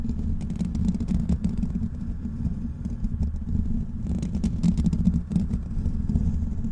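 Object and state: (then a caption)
Metal mesh microphone grille. Fingertips of both hands scratch the hollow black metal mesh grille of a large desktop microphone. The result is a steady, dense scratching rumble that is heavy in the low end, with quick crackly ticks and brief bright flicks scattered throughout.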